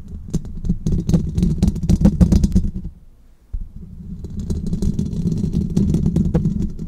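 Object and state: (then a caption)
Fingernail tapping on a metal mesh microphone grille. Fingernails on both hands rapidly tap and scratch the hollow metal wire-mesh grille of a large silver condenser microphone. This produces dense, boomy low thuds with crisp clicking on top. The tapping breaks off into near silence for about half a second just after the three-second mark, then resumes steadily to the end.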